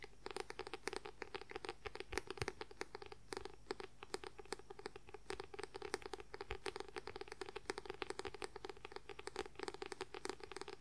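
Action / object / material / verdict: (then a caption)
tap / paperback book with paper cover / paper / none. Fingernails rapidly tap and scratch the white paper cover of a paperback book. Quick, crisp clicks and dry scraping follow one another without pause over a faint, steady low hum.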